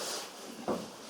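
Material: Nothing is struck.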